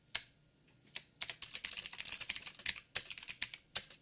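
Fingertips of both hands tap out typing on a backlit mechanical keyboard with black plastic keycaps on a silver frame and a hollow housing. About 19 short, bright, clacky keystrokes come in irregular bursts: a few isolated taps, then a quick run of presses, then a few more spaced taps. Each stroke dies away almost at once.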